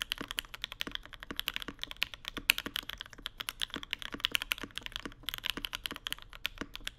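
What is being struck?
Mechanical keyboard, plastic keycaps on an aluminium plate.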